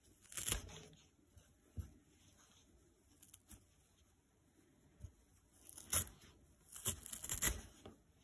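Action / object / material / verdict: scrape / nylon scouring pad / nylon / none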